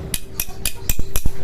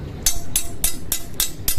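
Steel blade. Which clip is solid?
The first.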